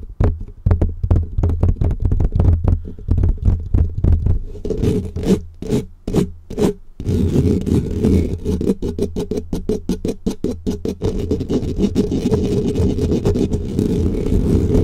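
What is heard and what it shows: Both hands' fingertips rapidly scratch and tap a black foam windscreen on a microphone, making quick muffled thumps with a deep, boomy low end. The first half is a brisk series of separate taps; about halfway through it becomes a dense, continuous scratchy rustle under steady tapping.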